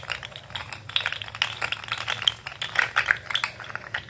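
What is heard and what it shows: Fingers bend a rainbow articulated plastic fidget slug toy with an orange head and wiggle its segments. The result is a dense stream of quick, dry, bright rattling clicks with no ring, concentrated in the upper range, plus a few sharper louder clicks toward the end.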